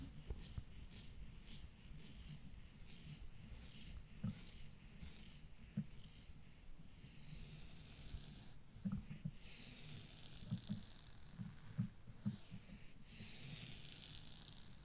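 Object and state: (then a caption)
Knit fabric leggings scratched. Long dark-painted nails scratch and rub the surface of grey textured knit leggings over the knees and thighs. A continuous soft, scratchy rubbing is heard, with a low rumble, bright swishing strokes, and occasional louder scrapes.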